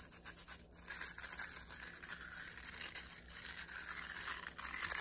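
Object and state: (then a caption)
Plastic round hairbrush with nylon bristles. Fingers quickly rub and scratch the nylon bristles of a black plastic round hairbrush. The result is a bright, hissing, scratchy texture, sparse and uneven at first, then a denser, continuous scrubbing after about one second.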